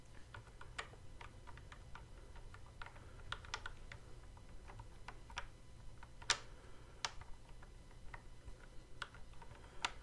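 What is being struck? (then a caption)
Plastic toy guitar controller with fret buttons. Fingertips press and tap the fret buttons on the neck of a hollow plastic Guitar Hero style toy guitar controller, producing a steady run of quick, short clicks over a low background hum. The clicks are sharp and bright with almost no ring, with a few louder snaps standing out.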